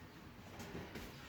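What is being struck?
Nothing is struck.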